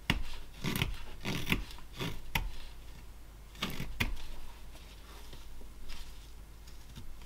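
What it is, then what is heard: Basswood block being carved. A carving knife shaves a small solid basswood block held in a gloved hand, making a run of short, dry scraping cuts. Each stroke is a brief rasp with a low body and a bright edge, separated by quiet pauses.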